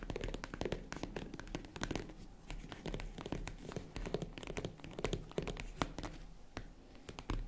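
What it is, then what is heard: Faux leather jewelry case tapped with nails. Long nails tap and knock on the padded lid of a small, hollow, closed tan faux-leather zippered jewelry case. A dense run of quick, soft, muffled taps and thunks with brief bright clicks, each dying away almost at once.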